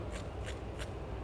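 A fried risole with a breadcrumb coating is handled to show off its crust, giving short, dry, bright crackling crunches over a steady low hum. The crunch confirms the risole is crispy.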